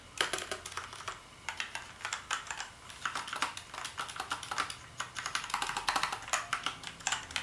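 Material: Plastic.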